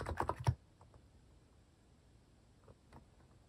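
Fingertips type slowly on a cream plastic mechanical keyboard fitted with plastic cat and paw keycaps. Four quick, low, thocky key clicks come in the first half second, followed by a few faint, scattered taps over a quiet background.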